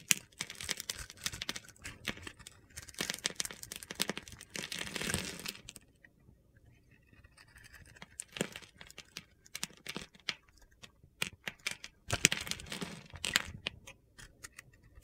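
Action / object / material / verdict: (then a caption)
scrape / bar of soap / soap / none. A solid rectangular bar of soap with a rainbow glitter coating and a scored grid surface is held in the hand and scraped and shaved with a utility knife, breaking off gritty crumbling cubes. Bright, dry crunching and scratchy scraping come in dense bursts with quieter pauses between them. Sharp crackles and snaps punctuate the strokes.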